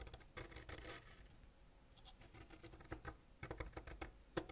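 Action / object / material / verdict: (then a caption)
scrape / wax crayon scraped with a ceramic blade / wax / none. A solid purple wax crayon, held by the fingertips, is scraped by a white ceramic knife blade, leaving wax shavings around it. Quiet, dry scratching sounds with soft bursts of broadband scraping and brief sharp ticks repeat irregularly.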